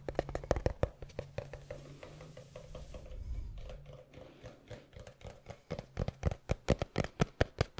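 Fingertips and nails tap and scratch a small, hollow, palm-sized black textured cardboard gift box. Quick, dry taps with a low, hollow thud and a faint mid tone give way to a softer stretch of scratching in the middle. The clip ends with a run of louder, sharper taps.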